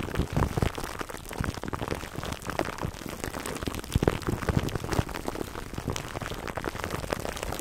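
Fingertips and short nails of both hands scratch clear plastic cling wrap stretched over a black foam microphone windscreen, close to the mic. A dense, continuous crackling and rustling fills the clip, full of quick snaps, with a heavy, muffled low end and little high sparkle.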